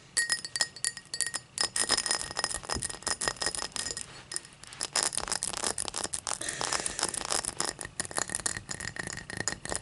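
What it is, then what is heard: Cut crystal tall glass. An empty, hollow, clear cut-crystal tall glass lies on its side on a towel while long matte dark nails tap and scratch the cut pattern on its side. Many quick, bright clinks and clicks mix with scratchy rasps, each tap ringing only briefly. A faint high glassy tone lingers between taps.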